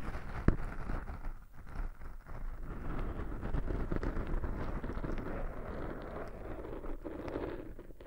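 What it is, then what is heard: Foam microphone windscreen being scratched. Fingertips scratch and rub two soft, porous black foam windscreens on binaural microphones. The result is a steady, dense crackling rustle that is heavy in the low end, with a sharp pop near the start.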